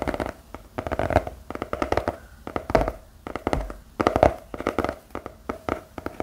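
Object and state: Cardboard notepad back, fingertip tapping.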